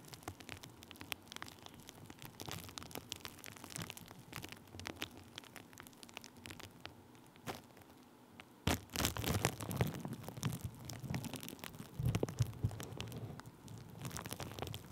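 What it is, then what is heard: Plastic bubble wrap. Thin clear plastic bubble wrap laid over a microphone is tapped and rubbed with a wooden stick. Dense, irregular crinkling and sharp little taps come through, with a louder, fuller rustle starting a little past the halfway point.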